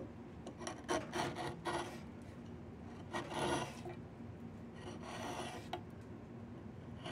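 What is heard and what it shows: A steel blade with a yellow handle is drawn along a long, solid, partly debarked diamond willow branch being carved into a walking stick. It makes short, irregular rasping scrapes as it shaves the wood. The bright strokes come in uneven bursts over a low, steady background hiss.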